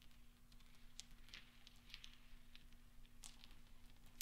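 Fingertips sweep and roll small solid steel pachinko balls across velvet so they knock together. Quiet, bright metallic clicks and ticks scatter over a soft rustling bed, with a steady low hum underneath. The clicks die away almost instantly.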